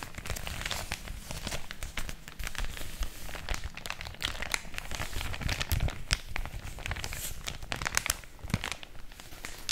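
A large, thin, flat white paper mailer packaging bag, hollow and apparently empty, is held in both hands close to a microphone and crinkled and rubbed by fingertips with long orange nails. The sound is a dense, continuous stream of crisp crinkles and sharp crackles with bright snaps over a low handling rumble. The papery rustling stays steady throughout the clip.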